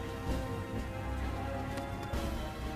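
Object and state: Nothing is struck.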